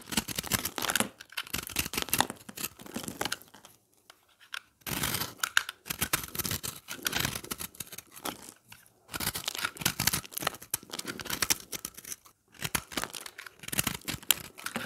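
A utility knife blade scrapes and shaves a dry, palm-sized round puck of pressed recycled soap chunks in green, yellow and orange, held in one hand, as dry, crumbly shavings fall. Bursts of bright, crisp scraping and crunching come in quick strokes, with brief pauses between runs.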